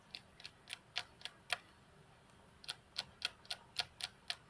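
Long fingernails of one hand tap on the flat, solid glass tabletop of a computer desk, making 13 short, sharp, bright clicks. The taps fall in an uneven rhythm, with a pause of about a second in the middle, and each click dies away at once.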